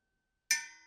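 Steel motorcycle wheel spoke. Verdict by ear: Tight.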